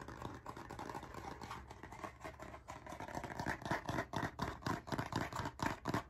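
A blue, cardboard-covered, spiral-bound hardcover notebook is held close to the microphone while its cover is scratched with fingernails and tapped with fingertips. The result is a fast, aggressive stream of dry, scratchy taps and scrapes, about two per second, that grows louder and more pronounced toward the end.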